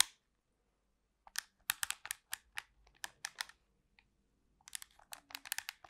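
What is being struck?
Plastic remote control.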